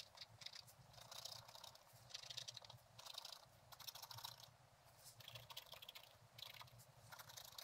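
A thin wooden stylus scratches a flat page of black-coated scratch-art paper with a gold underlayer, bound in a book. Quick bursts of dry, bright, crackly scratching come in repeated clusters, separated by short quieter gaps over a faint low hum.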